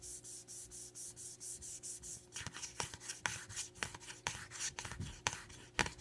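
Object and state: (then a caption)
Cardboard product box scratched with nails. Long nails quickly scratch and rub the face of a tall, narrow, blue printed cardboard eyeliner box, which is hollow, light and held upright. A steady run of even, hissy scratching strokes gives way to sharper, irregular scratches with crisp clicking taps.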